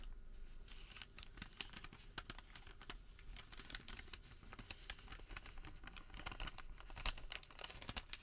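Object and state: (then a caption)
Thermal paper receipt being handled. A printed white thermal paper receipt is unrolled, flattened on the table and bent between the hands. Soft, steady crinkling and rubbing are broken by many sharp, bright crackles, over a faint low rumble.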